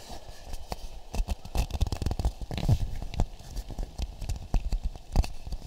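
An empty, hand-sized hollow half coconut shell is held close to the microphones and tapped and scratched with fingertips and nails. A quick, irregular series of dull, low, woody taps, each dying away almost at once, mixes with soft scratching and crackling textures.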